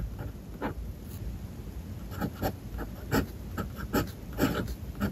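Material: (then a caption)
Paper. A fountain pen nib writes on a white paper page of a spiral-bound notebook resting on a desk, making light, dry scratching strokes on the same page throughout. Short bursts of scratching rise and fall in quick succession over a soft low background hiss.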